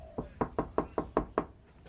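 Seven knocks on the steel door panel of a Honda Prelude that has sound deadening fitted inside. Each knock is a short, dull thud that dies away almost at once, with no ring. The door sounds solid, like a luxury car, unlike an untreated door.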